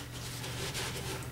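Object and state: Nothing is struck.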